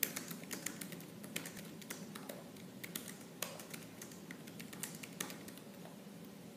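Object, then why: Laptop keyboard with plastic keys. Fingertips with purple-painted, medium-length nails type fast on the black plastic keys of a silver laptop keyboard. The result is a rapid, uneven stream of short, sharp, bright clicks and taps, with a few louder strikes standing out over a soft, steady low background.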